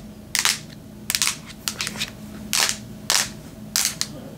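Long nails scratch and tap the grey metal back of a Samsung tablet held in the hands, making sharp, bright clicking and scraping bursts. The bursts come unevenly, with short quiet gaps and a faint low hum between them.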